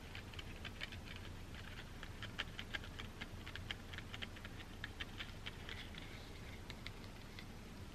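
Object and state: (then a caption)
Cardboard packaging insert. Long dark-green fingernails rapidly tap and scratch a folded black cardboard packaging insert held in the hands. Quiet, dry, short clicks and scratchy taps sit around 2 kHz over a steady low background hum.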